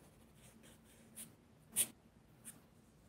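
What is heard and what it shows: A charcoal pencil held in the fingertips scratches and rubs across a page of a large spiral-bound mixed media paper sketchbook lying flat on a wooden table while shading a drawing. Soft, airy friction strokes with a faint low hum underneath, with one louder bright scratch standing out near the middle and two lighter ones around it.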